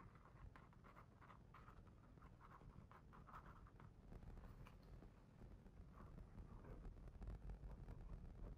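A fingertip traces and scratches over the illustrated clouds on a paper page of a large hardcover picture book, left open on the same spread throughout. Many quick, soft scratchy strokes come in uneven bursts over a steady low rumble, with a dry papery texture around the mid range. The whole clip stays quiet and close.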